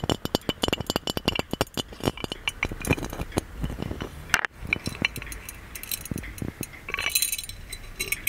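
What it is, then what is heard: Gold-plated metal lamp tapped with nails. Fingernails tap and clink rapidly on the body and lid of a small, hollow, gold-plated metal magic lamp, producing bright, short metallic clicks with little ring. A brief break falls near the middle, then lighter, scattered taps and a soft scratchy rustle follow.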